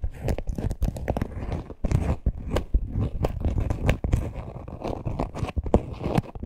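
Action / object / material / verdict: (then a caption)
scrape / small faux-leather purse with stitched seam / faux leather / none. Long nails scratch the front and the stitched top seam of a small, hollow teal faux-leather purse with a parrot appliqué. The result is a dense run of quick, dry, crunchy scrapes that are mostly low and muffled, with occasional sharper, brighter strokes. There are short dips between bursts.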